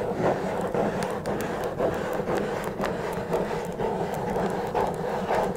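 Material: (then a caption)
Cardboard. Long red nails scratch and tap on top of a small, hollow blue Twinings cardboard tea box. A steady, dry scratching runs throughout, with soft, hollow midrange taps rising out of it at an uneven pace.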